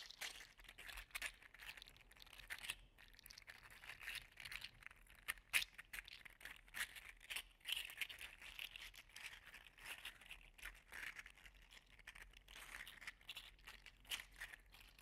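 An orange and gold segmented 3D-printed PLA articulated slug toy is held in both hands and twisted and compressed with the fingers so its joints click. A steady run of quick, dry plastic clicks and crinkly, scraping rattles fills the clip, bright and thin with almost no low end. Each click dies away almost instantly.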